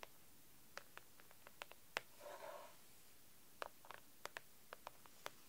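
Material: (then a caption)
Plastic. Long acrylic nails tap and scratch the cover of a pink plastic A4 document folder filled with papers on a desk. Quiet, sharp, bright clicks come in scattered bursts, with a short soft scratching rub in the middle of the clip, and each tap dies away almost instantly.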